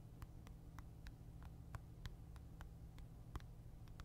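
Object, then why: Handheld game console with glass screen and plastic edge. Fingernails tap and scratch the glossy glass screen and plastic edge of a Nintendo Switch console held in one hand. Thirteen quiet, short, bright clicks come at a steady pace over a constant low hum.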